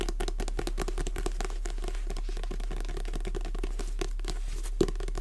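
Long fingernails tap and scratch the glossy card cover of a Jurassic Park paperback held upright in both hands. Rapid, soft clicks and dry scrapes run steadily at an even, quiet level over a constant low hum, with one sharper tap near the end.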